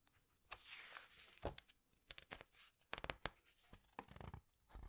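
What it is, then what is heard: Glossy book pages being handled. Long white-painted nails and fingertips squeeze, rub and turn the glossy printed paper pages of a large open hardcover book about the underwater world, with its solid stack of pages. Quiet, papery swishes and soft rubbing are broken by a series of short, sharp crinkling snaps and crunches, bright on top with some low thumps.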